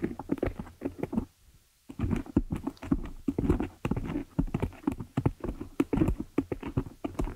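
Long nails scratch and tap both sides of the dark metal mesh head of a hollow desktop condenser microphone. Quick, dry taps mix with scratchy rasps into a dense, hollow, low-mid patter, broken by a brief lull near the two-second mark. Each tap dies away almost instantly.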